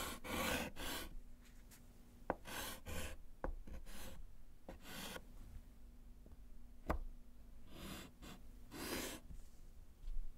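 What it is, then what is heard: Chalk writing on a slate board. A gloved hand writes with pink chalk on a small, flat, solid slate chalkboard in a wooden frame, tapping out letters. Bursts of bright, breathy scratching strokes alternate with sharp, dry chalk taps that stop at once, over a faint low hum between strokes.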